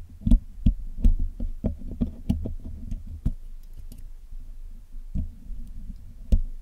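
A steel hook pick and steel tweezers pick and scratch the black hollow metal mesh grille of a Blue Yeti microphone while it is being cleaned. The result is an irregular series of short, sharp taps and clicks with deep, boomy thumps beneath them. Between the taps, faint scratchy rustling and a few tiny high ticks can be heard.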